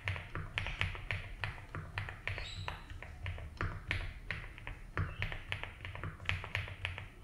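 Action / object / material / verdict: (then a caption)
tap / mechanical keyboard with plastic keycaps / ABS plastic / none. Slow fingertip typing on a compact 75% mechanical keyboard with a blue case and white and blue ABS keycaps, resting on a grey mat. Short, clicky keystrokes, bright at the top, come in an uneven rhythm over a steady low hum, with each tap dying away almost at once.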